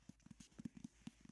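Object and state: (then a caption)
Hardcover book tapped. An old hardcover copy of the 1907 book "Birds Every Child Should Know" is tapped in a quick, uneven series of soft, dull knocks. Each tap is short and low-pitched, and it fades almost instantly with no ring.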